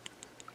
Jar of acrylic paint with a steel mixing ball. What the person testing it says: give it a shake and you can hear there's not a lot of uh clanking around yet